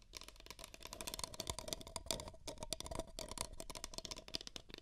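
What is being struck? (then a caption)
Empty paper cups. Fingertips and nails rapidly tap two identical empty beige paper cups, which are hollow. The result is a dense, quiet stream of short, dry, bright clicks and light rattly taps over a faint hollow tone near 640 Hz. Each tap dies away almost immediately.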